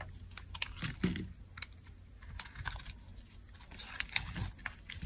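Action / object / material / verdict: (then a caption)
scrape / bar soap scraped with a metal blade / soap / none. A metal blade scrapes and carves curled dry shavings off a solid, dry orange Dial soap bar held in the hand. Crisp, scratchy scrapes and short, dry, bright clicks and crackles repeat over a low, faint rumble.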